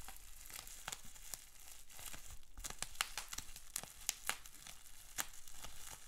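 Fingers crinkle, scrunch and twist a large clear plastic bubble wrap sheet with small bubbles. The result is a steady, dry crackling rustle broken by many short, bright snaps and clicks that cut off almost instantly.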